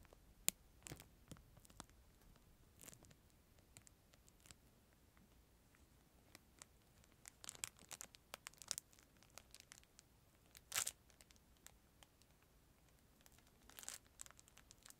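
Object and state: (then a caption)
Plastic film wrapper around a plastic spoon. Fingertips crumple and crinkle a thin clear plastic film wrapper around a disposable plastic spoon, held beside the microphone. Quiet, bright crackles and sharp, short snaps come in scattered bursts over a near-silent background, with denser clusters in the middle and a louder crinkle near the end. The sound sits almost entirely in the high range, with very little low end.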